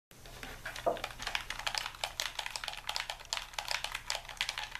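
Thumbs and fingers rapidly tap the buttons and sticks of a hand-sized, hollow white plastic Xbox-style game controller held in both hands. About thirty bright, clicky presses sound in quick, uneven succession, each short and dry with almost no ring, over a faint low hum.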